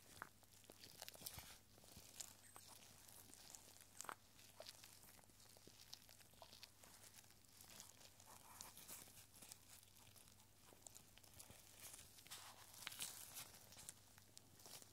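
A small clear glass bottle with a cork stopper, full of rolled paper scrolls, is turned and shaken in gloved hands so the scrolls shift against the glass. Soft, dry papery rustling and crinkling runs throughout, with frequent bright, crisp scrapes and faint clicks. A steady low hum sits underneath.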